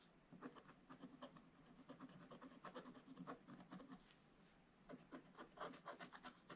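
A wooden stylus scratches lines into a black-coated scratch-art paper page in an open book. It makes a quick series of short, dry rasping strokes with a faint, bright scraping edge, with a brief pause in the middle before the strokes resume.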